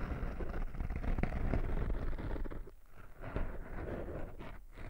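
Fingertips and short nails of one hand scratch and rub the surface of a small, soft, porous black foam windscreen over a microphone. The result is a dense, muffled scratching and rubbing rumble, heavy in the low end with almost no bright content. It eases briefly near the middle before picking up again.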